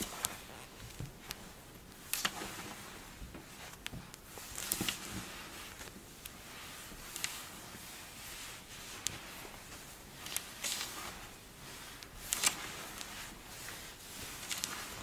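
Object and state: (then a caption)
Kinetic sand being crumbled and scratched. A block of pink kinetic sand is squeezed, crumbled and scratched with long blue nails and fingertips. It makes a soft, steady, bright crunchy hiss, broken by scattered sharp clicks and crackles. The sound is quiet and close, and each crunch stops almost at once.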